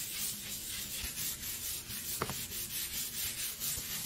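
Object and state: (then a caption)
Granite countertop being scrubbed. A gold and brown granite kitchen countertop, a solid slab, is scrubbed by hand with a blue bristle brush and then wiped with a cloth. A steady, bright, hissy scratching rises and falls in quick rhythmic strokes across the stone, with a brief soft knock partway through.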